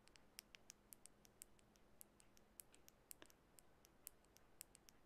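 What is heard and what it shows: Long bare natural fingernails softly tap a small glass bottle of orange nail polish with a barcode label and black cap. The result is a quiet, irregular series of quick, bright, high-pitched clicks that die away almost instantly, over a faint low hum.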